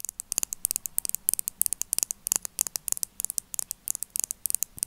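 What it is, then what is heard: Plastic eyeliner pen tapped with nails. A hollow, pen-sized black plastic kohl eyeliner pen with a clear plastic cap, held above the table, is tapped quickly with long acrylic nails. About 31 sharp, bright clicks come in irregular bursts over five seconds. Each is tiny and dry with almost no low end, over a faint hiss.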